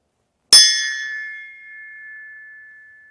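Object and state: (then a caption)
Steel axe head ringing true, good quality steel. A forged steel axe head hanging by a string is struck once, giving a bright metallic ping with high shimmering overtones that settles into a long, steady, high-pitched ring lasting more than two seconds. The sustained tone shows it is a high-quality piece of refined, pure steel that rings true, where low-quality cast iron would only give a dead thud.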